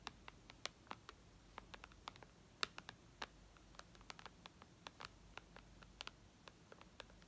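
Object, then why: Glass tablet touchscreen. Long red almond-shaped nails of both hands tap and scratch the dark glass touchscreen of a white iPad lying flat on a lace tablecloth. About 26 quiet, sharp, bright clicks come in an irregular patter, each dying away almost instantly, over a faint steady hiss.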